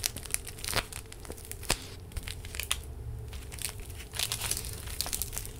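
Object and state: Plastic gel bead face mask.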